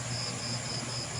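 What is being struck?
Nothing is struck.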